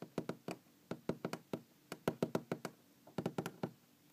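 A wooden object is knocked and tapped about eighteen times in uneven clusters. Each knock is short and dry with a low woody tone and almost no ring, separated by quiet gaps.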